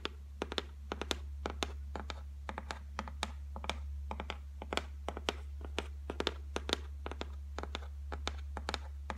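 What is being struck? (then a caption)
Laminated particleboard shelf. Long nails tap and lightly scratch a flat white laminated shelf top made of solid board. The result is a quick, uneven run of short, dry clicks with soft scraping between them, over a steady low hum.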